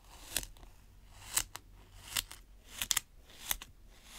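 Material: Sand.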